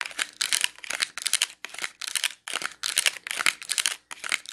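Long nails tap and scratch a small clear plastic clamshell package filled with dark wax melt cubes. The result is bright, crinkly clicking and scraping in quick irregular bursts, separated by brief silent gaps, with almost no low end.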